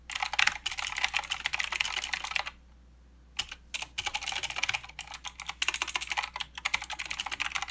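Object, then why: Mechanical keyboard with plastic keycaps. Both hands type with their fingertips on a mechanical keyboard with plastic keycaps and blue switches, producing a rapid stream of sharp, bright clicks centered around 2 kHz. The typing stops for about a second partway through, then resumes in quick bursts. Each keystroke is short and dry, with almost no low end.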